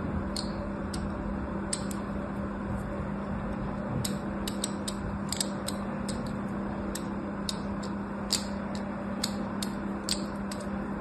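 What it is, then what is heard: Bar of soap being scored. A small metal blade or scissor tip scores and scratches parallel lines into the surface of a palm-sized, solid green bar of soap held in one hand, with other soap bars lying untouched nearby. A series of short, crisp, bright scraping ticks rises over a steady low hum and soft background noise.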